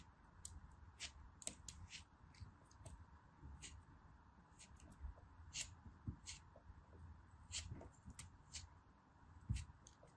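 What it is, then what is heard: Kinetic sand cut with a knife. A hand-sized, solid, compacted orange kinetic sand dome, held in fingers with long pink nails, is cut and scraped into crumbly slices with a small knife. Quiet, bright, crisp clicks and short scraping ticks come at an irregular pace over a low, steady background hum.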